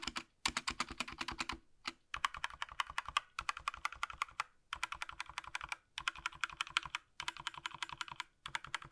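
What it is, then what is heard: Plastic mechanical keyboard. A single gloved hand taps with its fingertips on the plastic keycaps of a small black Razer BlackWidow V3 65% mechanical gaming keyboard resting on a desk. Quick, bright, clacky keystrokes come in rapid bursts of typing separated by brief silent pauses, each click short and dry with almost no ring.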